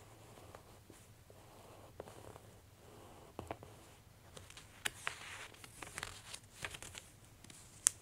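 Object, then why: Glossy paper catalog. An open glossy paper clothing catalog is pressed flat across its spread by a palm, then the fingertips and long nails crinkle its bottom edge. Soft, bright paper rustling and crinkling is broken by a few sharper clicks and taps, the loudest near the end.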